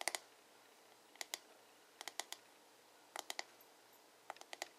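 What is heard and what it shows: Fingertips and nails tap rapidly on the smooth, hollow plastic back of a paddle hairbrush, making sharp, bright clicks. The taps come in short clusters of three or four with brief pauses between, each click dying away almost at once.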